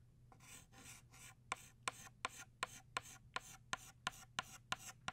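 An orange chalk stick held in the fingertips draws petals on a flat black chalkboard with steady scratching strokes. Each stroke is a bright, dry rasp, and from about halfway through, 11 of them start with a sharp click as the chalk hits the board, over a faint low hum.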